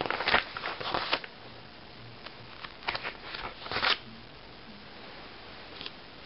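Fingertips and painted nails tap and scratch the cover of a closed glossy paper magazine lying flat on a table. Quick, bright, crackly bursts of tapping and scratching come in clusters near the start and again in the middle, with a soft scrape near the end and a hush between them.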